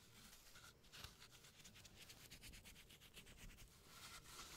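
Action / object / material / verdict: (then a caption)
scrape / floral foam block / floral foam / none. A hand-sized, brain-shaped block of solid green floral foam, held in a latex-gloved hand, is scraped and shaved across its surface with a flat blade tool. The result is a quiet, steady run of dry, crisp scraping strokes with a bright, hissy texture and a faint low rumble underneath.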